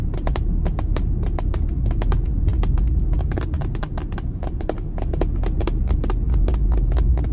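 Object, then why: Plastic steering wheel airbag cover. Long nails tap rapidly on the pad near the badge of a dark, hollow plastic steering wheel airbag cover. The quick, uneven taps give short, bright clicks over a steady low rumble from the faint car background.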